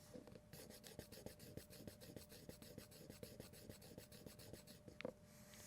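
The traditional handle scales of a Victorinox Climber Swiss Army knife are scratched near a microphone, producing a quiet, steady run of soft raspy scratches over a faint steady hum. The scales barely make any noise and do not sound like cheap plastic.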